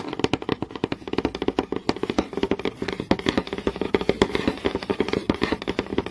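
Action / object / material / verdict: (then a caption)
tap / wooden board / wood / none. Fingernails quickly tap and scratch the grainy surface of a flat, solid wooden board. Rapid, irregular, dry clicks with almost no ring centre around a mid, woody tone. Soft scratching fills the gaps between them.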